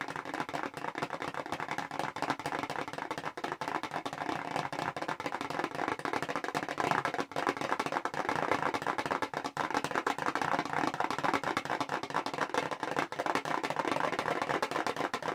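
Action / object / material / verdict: tap / small paperboard product box / cardboard / none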